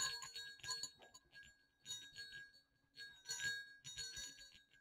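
Two small hollow silver metal jingle bells with slotted shells, strung on a cord, are shaken. They give bright, high jingling and clinking in several quick bursts with short pauses between. Each burst rings only briefly before fading.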